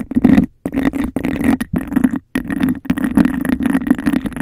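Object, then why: Textured glass cup. Long nails rapidly tap and scratch the sides of an empty, hollow, clear bubble-textured glass cup placed over the mic. The result is dense, hollow-sounding scratchy bursts with a resonant low-mid tone around 250 Hz and a bright, gritty edge, broken by a few brief silent gaps.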